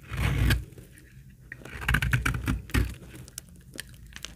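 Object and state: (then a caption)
Dry laundry soap bar being shaved. A steel utility-knife blade scrapes and cuts thin shavings from the edge of a solid brown bar of old, dry laundry soap held in the hand. Dry, rasping scrapes and brittle crunches come in short bursts, with a heavy low-end thud under each stroke and bright crackling ticks between them.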